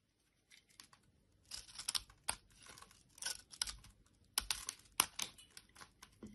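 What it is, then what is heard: Bar soap being shaved with a blade. A utility knife blade scrapes and shaves a solid orange bar of soap held in the hand and partly carved into a textured shape, with crumbly orange shavings falling onto a wooden surface. After a brief silence, dry, bright, crackly scraping strokes come in short bursts, with sharper cuts standing out, and almost no low end.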